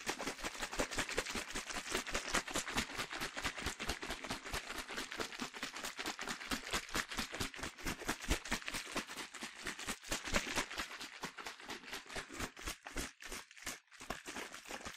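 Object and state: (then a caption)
Plastic spray bottle partly filled with liquid. A hand-sized, hollow yellow plastic Soltan sunscreen spray bottle, partly filled with liquid and capped with a translucent plastic cap, is held in one hand and shaken quickly and steadily. Each shake makes a bright, splashy slosh of liquid against the plastic walls, and the strokes run together in a rapid, slightly uneven rhythm for the whole clip.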